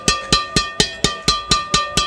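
A strung carbon Yonex Nanoflare 800 Pro badminton racket is tapped nine times at a steady pace. Each tap gives a sharp, bright "ing" ring over a tonal hum. The longer ring marks it as a high-end racket, like the crisp "ting" when netting on court.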